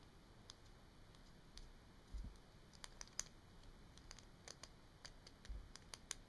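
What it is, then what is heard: Plastic marker tapped with nails. Long painted nails tap and scratch the hollow plastic barrel of a small Sharpie marker, held and rested on a table. Quick, sharp, bright clicks come at an irregular pace over a faint steady hiss. A couple of soft low thumps occur as the marker shifts against the table.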